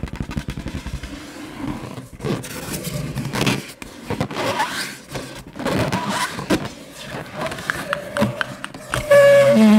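An inflated 9-inch yellow latex balloon, hollow and air-filled, is held in one hand and tapped and scratched with long nails and fingertips. It gives a rapid run of light, hollow taps followed by bursts of rubbery scratching and scraping. Near the end there is a louder, sustained squeaky tone around 560 Hz.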